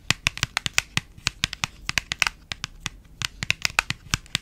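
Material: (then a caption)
Paperboard. Long nails tap and scratch a small, hand-sized printed paperboard box held close to the mic. About 26 quick, dry, bright clicks come in an uneven rhythm, each dying away almost at once, with faint scratchy rustle between them.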